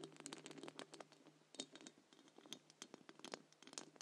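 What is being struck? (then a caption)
Wire-mesh metal microphone grille. Long acrylic nails from both hands scratch and tap the round wire-mesh metal grille of a large silver condenser microphone with a hollow head. The sound is a quick, uneven run of dry, bright scratches and clicky taps, with a faint steady hum underneath.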